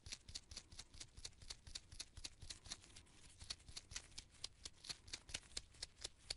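Purple nitrile-gloved fingertips repeatedly rub and flick the pale bristle tip of a small artist's paint brush with a gold ferrule and red wooden handle, held close to the microphone. The result is a quiet, fast, somewhat uneven series of short, dry, bright bristle ticks and scratches, roughly four per second. Each tick dies away almost instantly over a faint low rumble.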